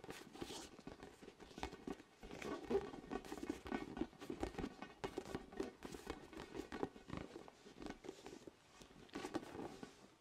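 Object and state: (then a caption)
Inflated vinyl spiky ball. Fingertips tap rapidly on a large, orange, hollow inflated vinyl ball with soft spikes, right next to the microphone. The result is a quiet, continuous patter of soft, hollow, muffled taps centered low-mid around 270 Hz. Each tap dies away almost instantly, and the rhythm is irregular throughout.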